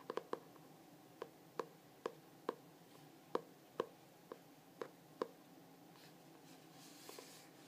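Fingertips and nails tap across the cover of a glossy hardcover journal with a Starry Night print, held in both hands. Twelve short, crisp taps ring with a hollow knock at about 480 Hz, coming in uneven bursts over the first five seconds. Only faint rustling follows in the quiet.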